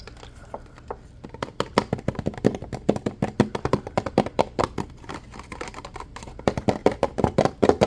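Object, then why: Plastic water bottle. Fingernails tap rapidly on the ridged plastic of a clear, partly full plastic water bottle while the bottle is squeezed so it crinkles. Dozens of short, dry clicks come in an uneven stream that starts sparse and quiet, then grows denser and louder toward the end.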